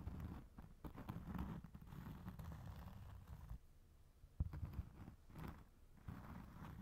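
Fingertips and short nails tap and scratch the granulated surface of a round, flat, solid cork trivet or coaster held up over a second coaster. The sound is quiet, dull, and low, with soft muffled taps over a rustling scratch. A brief pause comes midway before the tapping resumes.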